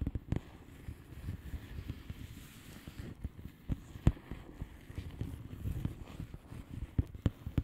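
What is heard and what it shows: Long fingernails on both hands tap across the bubbles of a flat blue plastic bubble wrap envelope. The result is a quiet, low, muffled patter of soft clicks, with a few sharper, brighter taps standing out.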